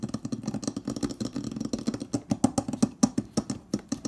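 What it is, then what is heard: Stainless steel refrigerator door. Fingertips and nails of both hands tap quickly on the panel and edge of a large, hollow, insulated stainless steel refrigerator door. About 25 short, dry knocks with a hollow mid-pitched tone and bright clicky edges come in a fast, uneven run. They grow louder and more spaced toward the end.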